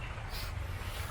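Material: Nothing is struck.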